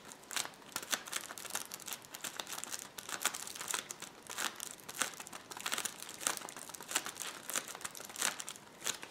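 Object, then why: Plastic bubble wrap roll. A roll of clear plastic bubble wrap is scratched and pressed rapidly by fingertips and nails. It makes a dense, bright crinkling with quick, sharp bursts and almost no low end. The crackly texture keeps going throughout, with short snaps that die away almost instantly.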